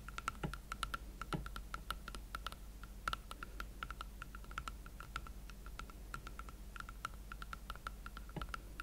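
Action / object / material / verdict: tap / leather platform boot / leather / none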